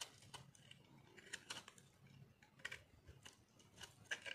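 A metal knife carves and scrapes crunchy shavings off a solid white chunk of dry soap held in one hand. It makes a quiet series of short, dry, bright scratching crunches that stop quickly with almost no ring, over a soft low hum.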